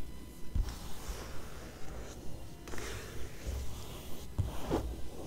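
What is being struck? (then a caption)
Glossy coated-paper magazine. Long acrylic nails and fingertips scratch and rub the thin coated pages of an open glossy magazine lying flat on the same spread. Quiet, soft scraping and brushing strokes come in uneven bursts, mostly dull and low with brief brighter swishes, each stopping almost at once.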